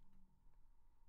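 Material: Nothing is struck.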